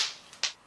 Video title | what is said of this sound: How To Mold Strong Plastic Parts! | you can hear how hard it is when I drop it on a terrazzo floor